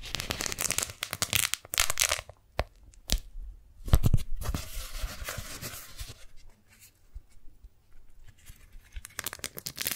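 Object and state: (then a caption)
Beeswax-coated cotton food wrap. Fingertips and long nails peel the folded, stuck layers of a pink strawberry-print beeswax-coated cotton food wrap apart and crinkle them. Dense bursts of bright, crackling tearing and crinkling alternate with brief quiet gaps and a few sharp snaps. The sound ends with another rush of crinkling.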